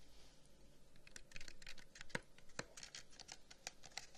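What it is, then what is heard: Carved wooden incense box. A long, hollow wooden incense box, about 30 cm, with carved flower cutouts and brass inlays, is held in the hands and tapped and scratched with the fingertips and nails. Quick, soft, dry taps with almost no ring mix with light, bright scratching. A few sharper knocks stand out over a quiet background.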